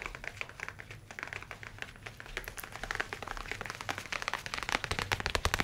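A dark leather folio tablet case, held in both hands, is tapped rapidly with the fingernails. The result is a dense, typing-like stream of short, dry clicks with a bright edge, growing somewhat louder and sharper toward the end.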